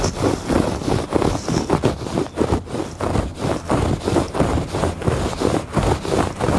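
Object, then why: Thick woven fabric rug. Fingertips and nails scratch across the weave of a thick woven fabric rug on a porch. A steady series of dry, rasping strokes repeats at a loose rhythm, with a dull, mostly low-to-mid texture and little brightness.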